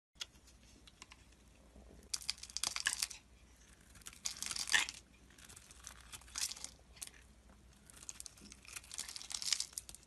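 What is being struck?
Bar of soap.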